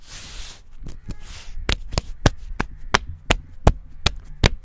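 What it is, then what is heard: Tree bark being scratched. Fingertips and short nails rub and scratch the smooth grey-brown bark of a living, solid tree trunk about 15–20 cm thick, outdoors in a field, close to a microphone. Bright, hissy scratching comes first, followed by a series of sharp, dry taps and clicks at an uneven pace over a faint low hum.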